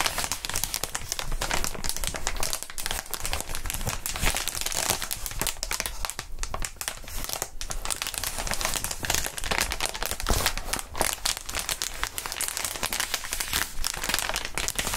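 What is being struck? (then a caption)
Inflated plastic air column cushion wrap. A large clear sheet of plastic air column cushion wrap, made of hollow inflated air-filled tubes, is held in both hands in fingerless gloves while the fingertips squeeze and crinkle it. A steady, dense stream of bright crinkling and crackling plastic runs throughout, with a low rumble underneath and no pauses.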